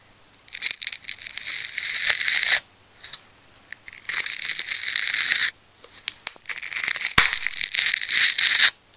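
A fine needle-point craft knife cuts and scratches into a fist-sized, solid layered ball of wound red, black and pink plastic adhesive tape held in the hands. Bright, hissy tearing and crackling comes in three long bursts separated by short quiet gaps, with sharp ticks and snaps throughout.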